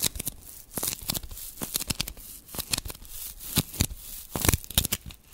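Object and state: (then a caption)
Glitter foam sponge scratched with nails. Long pink nails scratch and rub the porous surface of a small black glitter foam sponge held just above the microphone. The result is a string of dry, bright, crackling scratches and rustles in quick, irregular bursts, with a faint low rumble underneath.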